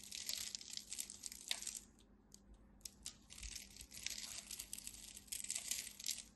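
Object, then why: Bar of soap. A small blade scrapes and carves cubes off the scored surface of a palm-sized, solid red-and-white striped bar of dry soap held in hands with long white nails, producing crunchy flakes. Bursts of bright, dry crunching and crackling scrape along with a brief near-quiet pause midway before the carving resumes.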